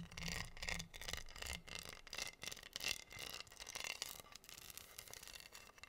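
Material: Acrylic rhinestones.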